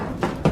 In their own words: that's not concrete that's Hollow